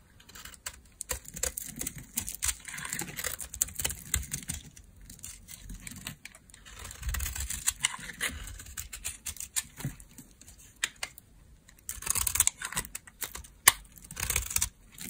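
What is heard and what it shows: A small metal blade scrapes and cuts a solid, palm-sized beige bar of dry laundry soap, breaking chips off it. Bursts of quick, dry, bright scratching and crackling snaps come in clusters, separated by brief quieter pauses, with a faint low rumble underneath.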